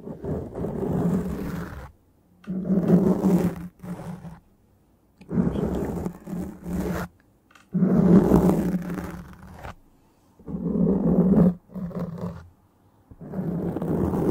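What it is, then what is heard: Foam microphone windscreen scratched. Long dark-painted nails of both hands scratch a soft, porous black foam windscreen on a microphone. The result is a series of dense, muffled scraping bursts, heavy in the low end with a steady low tone, separated by short silent pauses.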